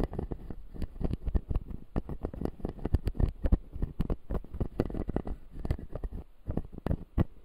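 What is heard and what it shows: A fingertip scratches the white plastic teeth of a closed, solid, clear acrylic dental model. The result is a dense run of short, dry scratching and clicking ticks, heavy in low thumps with only faint bright edges, each dying away almost at once.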